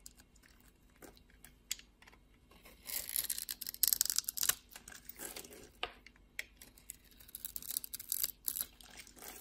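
A blade scores a grid into a solid blue bar soap with an embossed logo, held in the palm, then shaves off the pieces. The sound is quiet, crisp, high scraping and crackling, with irregular bursts of brighter crumbling. Short sharp clicks stand out against a faint hiss.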